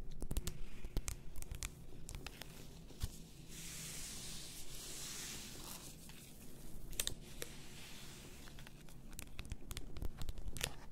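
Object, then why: Glass bottle of bath salt with a paper label. Long acrylic nails tap and scratch an 850 g glass bottle full of pink bath salt, with a paper label, lying on a white fur rug. Quick, sharp clicks on the glass come at an uneven pace, while longer bright, papery scratching swells across the label. A low, steady hum sits underneath throughout.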